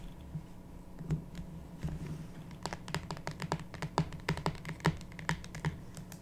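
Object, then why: Cardboard card box with a deck inside. Long pink natural nails tap and scratch the top and sides of a small, closed, printed cardboard tarot/oracle card box lying on a wooden table, hollow with a card deck inside. A few soft, scattered taps give way after about two and a half seconds to a quicker run of short, dry clicks with bright edges. A steady low hum sits beneath.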